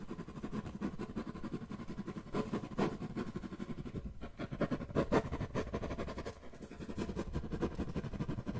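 A flat brown corrugated cardboard box or panel, hollow and thin-walled, is held upright in one hand close to the microphone while the fingertips and nails of the other hand scratch and tap its surface. The result is a steady, dense run of soft, dull scratching and quick tapping with a low, papery body and short, dry hits that barely ring. A few taps stand out louder, and the activity briefly thins out twice before resuming.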